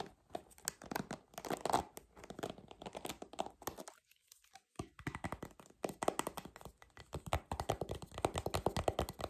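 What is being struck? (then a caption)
Plastic paddle hairbrush back. A purple plastic paddle hairbrush, with a hollow plastic back and bristles on the front, has its smooth back tapped and scratched with long nails. Dense, rapid clicky taps and scratchy crackles run throughout, with a brief near-silent pause around four seconds before the tapping resumes.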